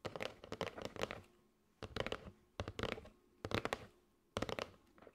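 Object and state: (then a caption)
Cardboard box of paper straws. A flat kraft cardboard box with a clear plastic window, holding striped paper straws, is held in both hands and tapped and scratched with long gray almond-shaped nails. Five quick bursts of dry, papery taps and scratchy clicks are separated by short quiet gaps, with a hollow low thump under the crisp high rustle.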